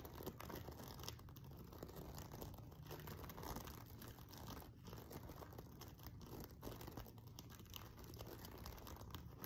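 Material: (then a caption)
Sequins. Fingertips and nails of both hands scratch the sequins along the top edge of a silver sequin-covered fabric pillow. The result is a quiet, dense, continuous crinkling and scratching texture, heavy in the low end, with many small rapid ticks and brief dips in the scratching.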